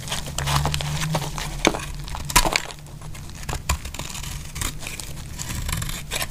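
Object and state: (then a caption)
Dry soap bar being cut and scraped. A metal utility blade cuts and scrapes flakes off a dry, solid orange soap bar that is partly carved and held in hand. Crisp, crumbly scraping and crackling fills the clip, broken by sharper snapping cuts, over a steady low hum.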